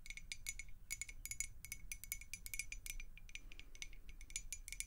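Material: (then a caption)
Glass. A clear, hollow glass beer mug with a handle, partly filled with water and held in the hands, is tapped and scratched with long acrylic nails. Rapid, quick-decaying taps ring with a bright, high glassy tone and a steady ping near 2 kHz, mixed with scratchy clicks. A soft low rumble sits underneath.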